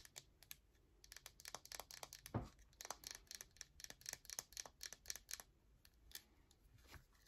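A whole palm-sized solid bar of yellow soap with an embossed logo is held in the hand while long acrylic nails tap and scratch its surface. About 28 quick, bright, dry clicks and short scrapes follow in an uneven rhythm, with a louder thud near the middle.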